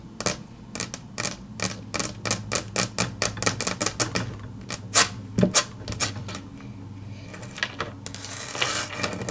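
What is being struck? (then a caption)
Wood-grain laminate tabletop. Long natural fingernails tap and click in rapid runs on a large, flat, solid grey wood-grain tabletop, likely laminate over board. The clicks are sharp, bright and short, coming in an uneven rhythm, with a few louder taps around the middle. Toward the end they soften into a hissy, scratchy wash across the surface.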